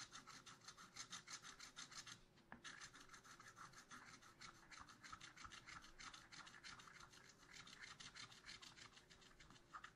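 A wooden stylus scratches a black-coated scratch art paper sheet in a spiral notebook with quick, repeated back-and-forth strokes. The result is a steady, bright, dry rasping with a brief pause early on before the strokes resume.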